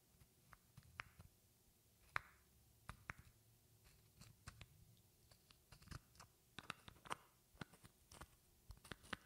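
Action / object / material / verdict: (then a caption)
tap / glass perfume bottle / glass / none. A medium rectangular glass perfume bottle with a flower print and a silver cap, partly filled, is held in one hand and tapped with long painted fingernails. Quiet, irregular sharp clicks and taps come in quick clusters, some landing as brief glassy pings near 1.2 kHz that die away almost instantly, with a faint low thud beneath.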